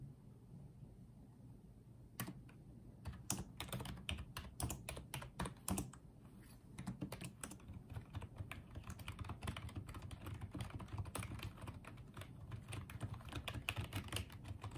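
Fingertips type on and tap the keys of a small pink and white plastic wireless keyboard. After about two seconds of quiet low hum, a long run of sharp, dry clicks begins and continues to the end, some taps louder and brighter than others.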